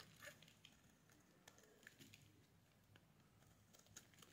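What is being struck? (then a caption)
Bar of soap scraped with a metal blade. A metal blade shaves the edge of a solid yellow bar of soap. It makes quiet, bright, crisp crackling and scraping ticks that come in scattered short bursts, each fading quickly over a soft hiss.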